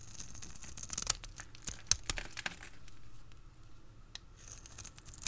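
A utility blade carves crisp strips from the face of a dry, solid red bar soap held in a hand with long red nails. The blade makes irregular, crackly scraping and tearing sounds with sharp, bright snaps over a quiet low background.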